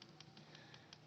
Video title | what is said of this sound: Symptoms of a BAD PCV VALVE | dapat narinig nyo yung spring sa loob, maalog